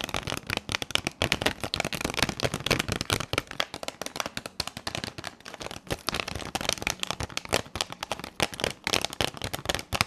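Long pink nails tap and scratch a hand-sized retail blister pack, a clear plastic shell over three pastel highlighter pens on a printed cardboard backing. The result is a dense, continuous run of quick, bright plastic clicks and crackly scratching with no ring after each hit.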